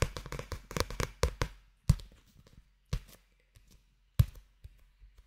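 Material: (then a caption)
Paper. A small solid paperback manga with a paper obi band, held in both hands in front of a microphone, is tapped on its cover with fingertips and nails. A quick flurry of soft, dull, low taps opens the clip, then slows to scattered single taps with short, dry decays and quiet pauses between them.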